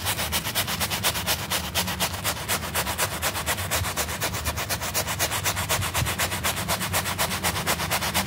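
A small rectangular piece of flat, solid pile carpet, wet and soapy and held by a finger, is scrubbed vigorously with a stiff plastic-bristle hand brush. Fast, steady back-and-forth strokes make a continuous run of bright, hissy, wet scratching bursts over a low rumble.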